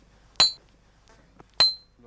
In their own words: C'est une pierre de cloche, tu vois comment ça sonne... très sain.